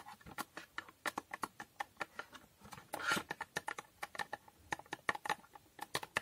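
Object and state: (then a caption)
Small cardboard box tapped with fingernails. Long painted nails tap rapidly on the faces and edges of a small, hollow rectangular cardboard box with a holographic foil coating. About thirty quick, dry clicks sound, each dying out almost instantly, with a tone near 1.8 kHz, a bright top and almost no low end. A brief scratchy rustle sits in the middle.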